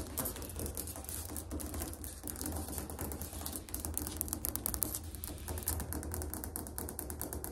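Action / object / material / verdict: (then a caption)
tap / ceramic floor tile tapped with fingernails / ceramic / none. Fingernails tap rapidly on a ceramic tile floor, producing a fast, continuous stream of hard, bright clicks over a low background rumble.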